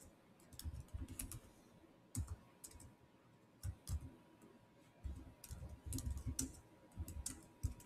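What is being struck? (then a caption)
Plastic laptop keyboard. Bare fingertips type quickly on a Samsung laptop keyboard with black plastic keys set in a silver body. Short bursts of soft, dull taps and bright plastic clicks come in uneven clusters separated by brief pauses, each keystroke dying away almost instantly.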